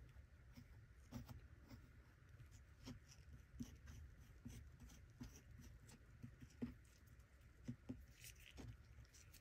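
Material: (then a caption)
Sand, plastic. A small plastic shovel scrapes and digs through kinetic sand in a small plastic toy treasure chest. Quiet, low, crumbly scraping is broken by short, light clicks and taps as the shovel meets the plastic, with a faint bright hiss over the top.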